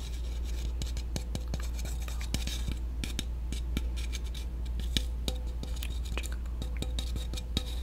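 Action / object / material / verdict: tap / aluminum soda can tapped with a chopstick / aluminum / none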